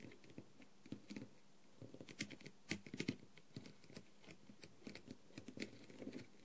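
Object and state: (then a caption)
Rhinestone-covered plastic mask. A clear plastic tool tip taps rapidly across the gems of a blue, rhinestone-covered plastic masquerade mask. The result is a quiet, irregular patter of short, dry clicks, each with a low-mid body and a bright tick, coming in uneven bursts with a brief lull near the middle.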